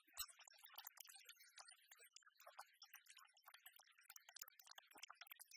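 A small clear plastic spray bottle, partly filled with liquid and held in the hands, is tapped and scratched rapidly with long fingernails. The result is a quiet, dense stream of crisp, bright clicks and scratchy rustles with very short decay and almost no low end.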